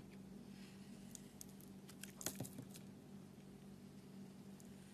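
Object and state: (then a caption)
Soap bar scraped with a blade. A solid white-and-black spotted soap bar with a purple core, held in the fingers, has the coating on its edges scraped and peeled away by a metal utility-knife blade. Short, bright scraping and crackling bursts cluster mostly in the middle of the clip. A steady low hum runs underneath throughout.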